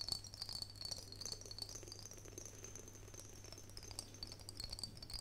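An empty, clear glass mason jar, hollow and held in both hands, is tapped and scratched on its body with long fingernails. Quick, irregular clicking taps and scratchy rustles run throughout, over a steady high ringing tone and a low constant hum.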